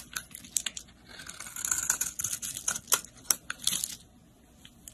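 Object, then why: Bar of soap. A snap-off utility blade shaves and scrapes crumbly flakes from a solid pink soap bar held in hand. Bright, crisp scraping and sharp crackling ticks come in quick bursts, with a denser, rougher stretch of shaving in the middle before it thins to a few soft scrapes.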